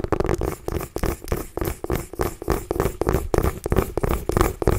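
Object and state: Mini pumpkin tapped and scratched with nails.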